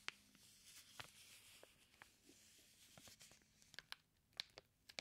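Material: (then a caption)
Plastic film. Fingertips rub and press the clear plastic wrap sealing a flat package of raw bacon slices. Soft, bright crinkling runs throughout, broken by sharp, quick crackles and pops that cluster toward the end. Each snap is dry and dies instantly, with almost no low-end weight.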